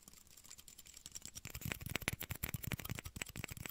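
Small, empty, clear hollow plastic shot glasses, one held in each hand, are tapped with fingertips and nails close to the microphone. The clip starts as soft, sparse clicking, then builds into a quick, uneven run of light, dry taps. Each tap is short with no ring, pairing a dull low thump with a bright plastic click.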